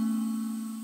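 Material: Nothing is struck.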